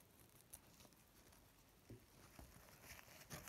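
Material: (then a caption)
Paper. A thin, soft white paper napkin is held in both hands and pinched, rubbed and crinkled with the fingertips. The result is a quiet, steady rustle with a few sharper, brighter crinkles standing out along the way.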